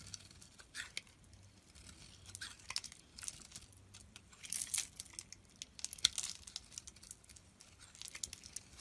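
A solid yellow, hand-sized rectangular bar of soap is held in the hand and scraped into crumbly flakes with a steel utility knife blade. Soft, dry, bright scraping and crinkling bursts come in quick irregular strokes, with a few sharper crunchy peaks near the middle. The sound stays quiet and thin with almost no low end.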